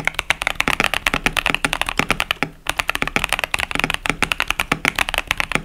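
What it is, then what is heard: Plastic mechanical keyboard. A compact KBD67 Lite mechanical keyboard with a plastic case, Boba U4T tactile switches and cherry-profile keycaps is typed on continuously with the fingertips of both hands. A rapid stream of short, bright, dry clacks follows with very little low end and no ring, and a brief pause falls about halfway through before the typing resumes.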